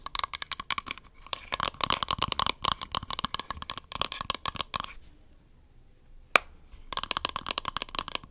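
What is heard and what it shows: Long nails rapidly tap and scratch the rim and the barcode-stickered bottom of a small, round, beige plastic powder compact with a hollow case, producing dense, bright, dry clicks and scrapes. The flurry breaks off into near silence, a single sharp click snaps out, and then the fast tapping and scratching resumes.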